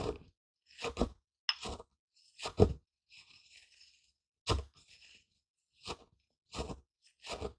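A wooden pestle gripped in a fist grinds and presses brownish crushed seeds or grain in a small, light, hollow wooden mortar held in one hand. Short bursts of dry crunching and gritty scraping repeat throughout, with a fainter, brighter rustle between some strokes.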